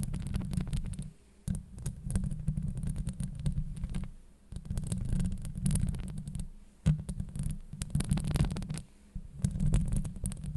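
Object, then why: Metal mesh microphone grille. Long nails scratch across a hollow metal mesh microphone grille, making a deep, muffled, rumbling scrape with faint bright crackles on top. The scratching comes in continuous bursts with brief quiet gaps between strokes.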